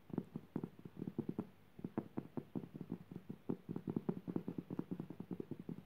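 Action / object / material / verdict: tap / woven jute burlap fabric / jute / none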